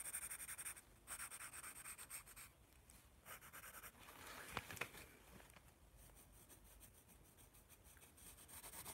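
A yellow wooden graphite pencil scratches across the thin white paper sheets of a hand-held spiral sketchbook while drawing. Bright, dry scratching strokes come in bursts with short pauses, softening through the middle, where two sharper ticks stand out, then grow louder again at the end.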